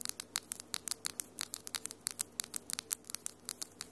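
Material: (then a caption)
Acrylic. Long, solid almond-shaped acrylic nails with glitter polish tap and scratch against each other in a quick, uneven series of about two dozen sharp, bright clicks. Each click is crisp and dies away almost at once, with a faint low hum underneath.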